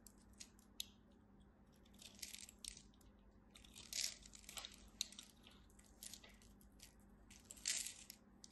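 A small blade scrapes and carves cubes off the scored surface of a dry, solid, palm-sized red-and-white striped bar of soap held in hands with long white nails. Quiet, bright, crunchy crackles and flaking scrapes come in short bursts, with a few louder crunches, over a faint steady low hum.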